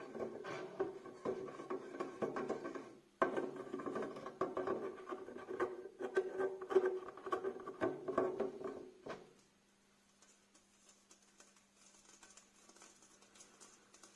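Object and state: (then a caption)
Metal wire basket. Fingernails tap and scratch the thin wires of a small, empty black metal wire storage basket held up close. The result is a dense, irregular patter of scratchy clicks with a faint mid-pitched metallic ring, pausing briefly around 3 seconds. The tapping stops near 9 seconds, leaving a quiet, steady low hum and faint high hiss.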